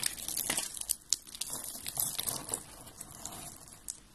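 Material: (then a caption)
Soap. Fingers crush and rub white and blue dry soap flakes, making a dense run of dry, bright crackling and crinkling crunches with sharper snaps at moments. The sound is thin and high, with almost no low end and no ring after each crunch.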